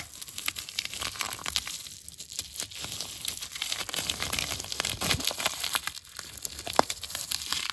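A small clear plastic zip-lock bag, full of tiny solid steel ball bearings about 1–2 mm across, is squeezed and rubbed between fingertips so the balls shift and grind against each other and the plastic. The result is a steady, bright crinkling and gritty rattling with rapid tiny clicks and almost no low end, plus a sharper click near the end.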